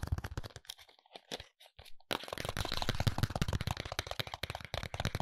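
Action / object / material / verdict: scrape / small paperboard box / paperboard / none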